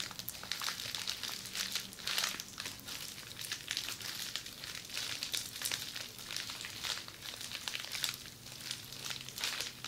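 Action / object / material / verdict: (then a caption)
scrape / plastic bubble wrap roll / plastic / none. Long nails scratch and squeeze the bubbles of red plastic bubble wrap rolled into a hollow tube and held in front of the body. The result is a steady stream of soft, bright crinkling and crackling, with dense quick pops and scrapes and very little low end throughout.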